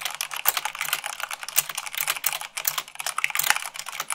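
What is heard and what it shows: Fingertips with long nails type fast, at about 98 words per minute, on white plastic keycaps of a black plastic mechanical keyboard. A dense, rapid stream of bright, dry clicks and clacks follows, each one short with almost no ring and no low-end body, with a few sharper, louder strikes standing out.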